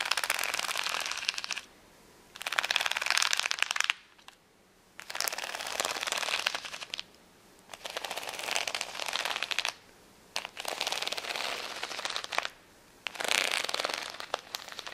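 Long nails scratch across the rows of gems on a flat plastic rhinestone sticker sheet resting on a towel. Six bursts of dense, bright, crackling clicks are separated by short silent pauses. The sound has almost no low end.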